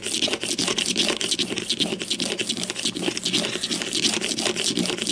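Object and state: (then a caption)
Plastic deodorant stick. Long nails rapidly tap and scratch the top of a grey-green plastic deodorant stick with a hollow casing, lying on its side on a white table, with one hand resting at its far end. A steady, dense stream of dry, bright scratches and quick clicks fills the clip, with very little low end.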